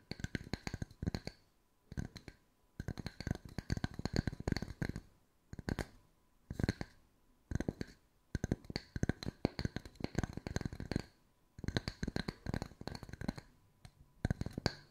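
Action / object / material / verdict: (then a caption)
tap / round wood slice coaster / wood / none. Long white nails tap and scratch two matching small round solid wood tree-slice coasters with bark edges. Quick bursts of dry, clicky taps with no ring, separated by short pauses, have a low woody body and a light bright scratchy edge.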